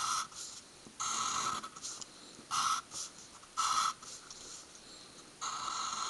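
A graphite pencil tip is drawn across a thin stack of white paper sheets lying on a wooden table in short, dense hatching strokes. Several bursts of dry, bright scratching come in uneven clusters, with a strong band around 1.3 kHz and quiet gaps between them.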